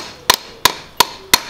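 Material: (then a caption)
Steel, rubber. A used steel-and-rubber crankshaft damper pulley is struck four times, each hit giving a sharp, bright metallic clank with a slight rattle. Part of the pulley has come loose, so it sounds with play and is faulty.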